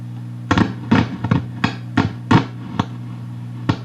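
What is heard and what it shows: Tapping the 470K resistor on the 6SJ7 tube socket of a Gibson BR-6 tube practice guitar amp makes about nine scratchy crackling bursts over a steady low hum through the amp. The noise came from a ground wire at the socket that had never been soldered; once it was soldered, the sensitivity to tapping was gone.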